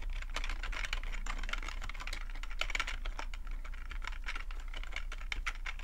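Fingertips type steadily on the keys of a black full-size plastic computer keyboard, producing a dense, continuous stream of sharp plastic clicks and clacks bright around 2 kHz. A low, steady hum sits underneath the typing for the whole clip.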